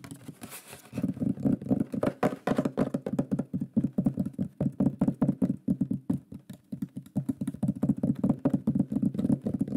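A shield-shaped wooden pyrography plaque with a lion drawing is held up and fast-tapped with the fingertips and fingernails of both hands. A rapid, continuous patter of short, dry, woody knocks follows, centered low around 220 Hz with almost no ring, briefly pausing and picking back up throughout.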